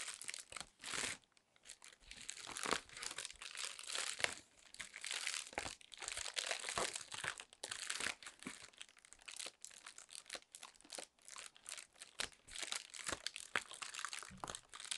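A sheet of inflated clear plastic air-pillow packing film is held in both hands while long nails squeeze and crinkle it. The result is a dense, continuous run of bright, crisp crackling and crinkling, with short sharp snaps and almost no low end.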